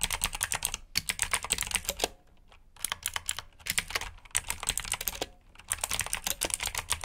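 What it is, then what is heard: Mechanical keyboard with clicky switches. Fingertips type continuously on a black plastic mechanical keyboard with blue switches and backlit keycaps. Rapid, bright, crisp clicks come in quick bursts, with short pauses between runs of typing.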